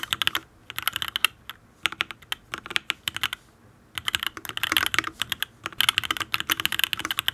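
Fingertips of both hands rapidly type on a full-size custom Matrix Ablex Penpen mechanical keyboard with an aluminium case, ABS keycaps, lubed Tealios V2 linear switches and no foam. Quick, bright, clacky keystrokes come in bursts with short pauses. Each click is crisp and dies away instantly, with almost no low end.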